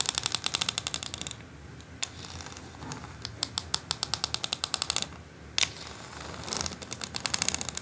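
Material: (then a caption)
Plastic. Long acrylic nails tap rapidly along the ridged slots of a flat white plastic quilling board, producing bright, sharp clicks that stop almost instantly. The taps come in quick bursts separated by short, quieter pauses.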